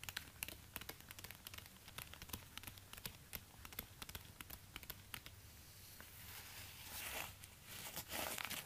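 Orange rubber-gloved fingertips tap and scratch the hard plastic/rubber outsole, with worn patches, of a single black high-heeled ankle boot held upside down. Quick, irregular, crisp clicks come about four per second, with crinkly rubbing between them. Near the end, longer hissing scrapes swell louder.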